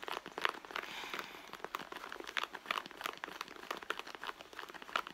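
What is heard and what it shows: Long blue nails scratch and tap across the stitched leather front and pocket of a hollow, medium red leather handbag lying on a mat. The result is a quiet, irregular stream of dry, crinkly scratches and short sharp clicks, bright in tone with almost no low end.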